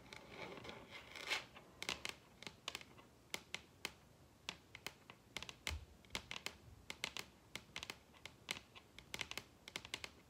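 Long red acrylic nails tap and scratch on the surface of a large, solid wooden dining tabletop. The clip opens with a soft, rasping scratch, then a quick, uneven run of sharp, bright clicks with very little low end. Each tap dies away almost instantly over a quiet background.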